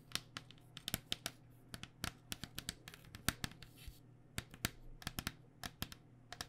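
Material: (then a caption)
Hard plastic. Long painted nails tap quickly and irregularly on a white cycling helmet, a hollow, vented hard plastic shell over foam. About thirty short, dry, bright clicks stop instantly with no ring, over a faint steady low hum.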